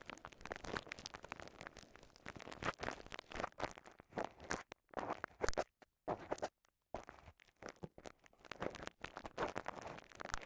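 A small wad of clear polyethylene bubble wrap is squeezed, popped and crinkled with the fingers. Quiet, dense crinkling and crackling is broken by sharper pops, with brief silent pauses near the middle before the crinkling resumes.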